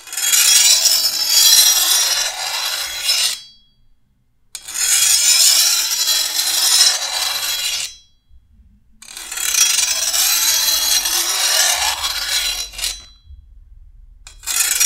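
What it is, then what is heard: Steel machete blade being filed. A steel file is stroked along the edge of a long, thin, solid steel machete blade, lifting between passes. Three long, bright rasping scrapes of about three to four seconds each are separated by short silences, and a fourth stroke begins at the end. The sound is almost entirely high-pitched, with no low end.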